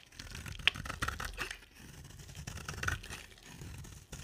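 A solid oval pink soap bar with a dark glitter-coated rim is held in the hand and shaved with a box-cutter blade, with pink shavings piling up beside it. The clip is a run of dry, crackly scraping strokes with bright, crisp edges and a few sharper clicks. The strokes sound close and quiet.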